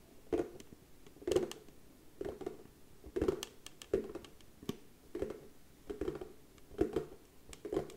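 Long nails tap quickly on the lid of a round, hollow, darker brown wooden box with a white round label, held in both hands. The result is quiet clusters of light, clicky taps with a hollow mid-range knock that dies away almost at once.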